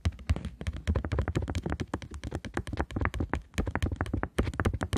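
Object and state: Polymer banknote tapped with nails.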